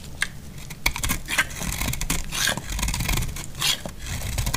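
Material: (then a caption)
Soap. A utility knife blade shaves thick curls from the edge of a solid cream dry laundry soap bar held in the hand. Dry, crackly scraping strokes come in bright, brittle bursts over a low, dull rumble, each ending quickly with almost no ring.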